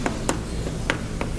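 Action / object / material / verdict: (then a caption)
knock / unfossilized mammoth bone / bone / hollow. Four short, dull knocks on unfossilized mammoth bone, each dying away almost at once over a low background hum. The bone sounds very hollow yet close to the sound of the dirt around it, because it has a hard cortical outer layer over a spongy cancellous interior.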